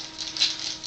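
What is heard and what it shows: A can of orange novelty hair color spray is shaken hard, and the mixing ball inside rattles with a bright, high clatter. The sound comes in quick, uneven pulses that peak midway through the shake. This is the normal sound of the can being mixed before spraying.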